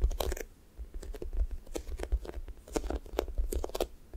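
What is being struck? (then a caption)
Foam squishy toy with a sticky top. Flat fingers press into and peel off the pink sticky top of a thick strawberry toast squishy toy made of soft, solid foam. The result is a run of quick, crackly, tearing bursts with bright edges, over a dull low-pitched pressing rumble. Each sound stops almost at once.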